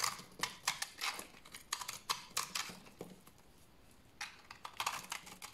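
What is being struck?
Bar of soap scraped with a knife blade.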